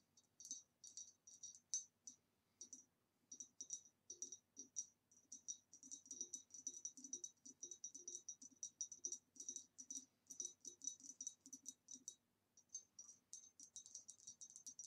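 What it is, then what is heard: Ribbed glass vase tapped with nails. Long nails tap rapidly on the lower body and neck of an upright, hollow, empty ribbed green retro glass vase. Dozens of light, clicky taps come in quick irregular bursts, with short pauses near 3 and 12.5 seconds. Each tap gives a bright, high glassy ping that dies away almost at once.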